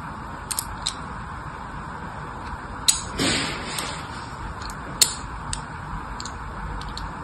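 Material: Soap.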